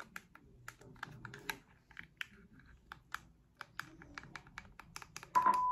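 Long acrylic nails tap and click on the rubber buttons and hollow casing of a small handheld white plastic remote control, making a quick run of sharp, bright clicks that come in close, irregular bursts. Near the end, a steady tone near 1 kHz joins the clicks and stays to the finish.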